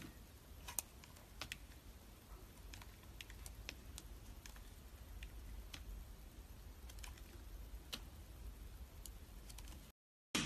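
A metal utility blade carves and shaves pieces from the face of a solid, palm-sized pink, yellow and blue layered bar soap, held by fingers with long white nails. Quiet, crisp clicks and short scraping ticks ring out over a steady low rumble. The sound cuts to near-silence, then a brief bright burst comes at the very end.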